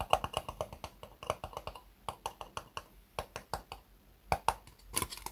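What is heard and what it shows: An empty, small, hollow white ribbed disposable plastic cup is held upside down on a desk mat and tapped with long fingernails. There are 28 quick, dry clicks in an irregular rhythm, each with a hollow, papery mid-range tone and almost no ring.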